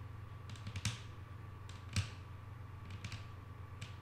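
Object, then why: Wooden tabletop. Long painted nails of both hands tap on a flat, solid wooden tabletop in an irregular series of short, dry clicks. The clicks are quick and bright, with some landing in close clusters. A steady low hum and a faint constant tone run underneath.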